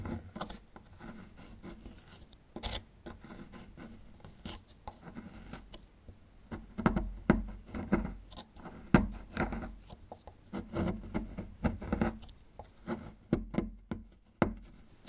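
A small metal chisel tool scrapes and picks at a small, solid plaster fossil excavation block. The result is a quiet, irregular run of dry scratches and short, dull ticks that are mostly low in tone. Each one dies away almost at once, and louder scrapes cluster in the second half.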